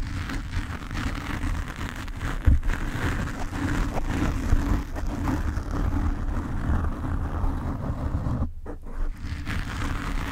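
Long nails of both hands scratch from above across the black foam cover on a desk microphone. The result is a steady, dense rustling and scratching that is heavy and boomy in the low end, with little brightness, and it briefly thins out just past the eight-second mark before resuming.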